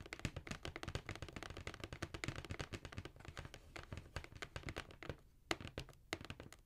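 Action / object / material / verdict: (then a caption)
tap / cardboard shoe box / cardboard / none. Long nails and fingertips tap on the side of a hollow black cardboard Jordan shoe box held upright. A fast, uneven run of dry, clicky taps with a deep, hollow thump under each one dies away almost instantly. The tapping briefly quiets near the end, then a few sharper, isolated taps follow.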